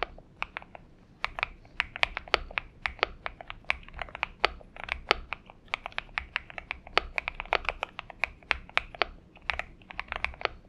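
A purple Xinmeng M71 mechanical keyboard with PBT keycaps is typed on with the fingertips of both hands. A steady stream of sharp, bright clicky keystrokes with very short decay plays over a faint low hum, forming a quick, uneven typing rhythm.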